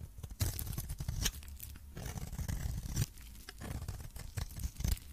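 A metal blade cuts and scrapes shavings off a pink and purple coated solid soap bar. The clip is a dense run of crisp scraping and tearing crunches with low thuds beneath and bright rasps on top.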